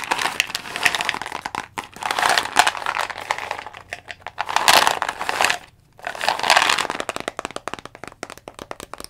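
Long fingernails tap quickly on the green cap and label of a dark brown plastic Jamieson vitamin bottle. The result is dense, dry, clicky tapping in bursts, bright and crinkly with almost no low end, and each tap dies away almost instantly. A brief pause falls near the six-second mark before the tapping resumes.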